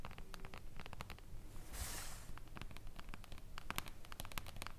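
Long acrylic nail tips on both hands tap rapidly on a flat, reflective glass tabletop panel. Quick, irregular, bright clicks come close together over a low, quiet rumble, with a brief soft hiss partway through. Each tap stops almost instantly, with no ring.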